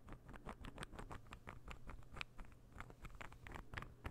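A palm-sized, light-wood interlocking puzzle ball is held in the fingers and tapped and scratched with fingernails. The result is a quiet, rapid patter of short, dry clicks and scratches with a bright edge, over a steady low hum.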